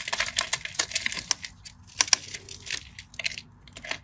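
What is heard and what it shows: A craft knife blade carves small crunchy cubes off a scored grid on a solid cream bar of dry soap held in the hand, scratching and cutting through it. The result is a rapid series of sharp, dry, bright crunches and clicks with short scraping between them and no ringing.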